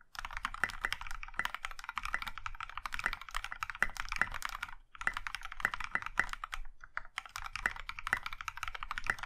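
Both hands type with their fingertips on a compact Iron165 mechanical keyboard in a maroon metal case with dark grey and pink plastic keycaps. A fast, steady stream of short, crisp clacks with a mid-range ring continues, broken by brief pauses around the middle and later in the clip.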